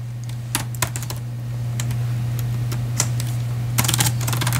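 Fingertips of both hands tap the white plastic chiclet keys of a silver laptop resting on a padded patterned case on a lap, typing in a steady but uneven rhythm. The clip is filled with light, bright key clicks, with a quicker burst near the end, over a constant low hum.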